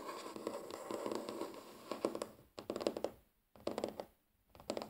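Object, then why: Wooden tabletop. Natural fingernails of both hands scratch and tap across a large solid wooden tabletop. Dense, crackly scratching mixes with dry, clicky taps in uneven bursts separated by short silences. The sound sits mostly in the midrange and dies away instantly, with no ring.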